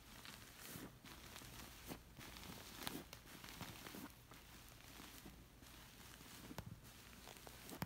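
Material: Woven fabric.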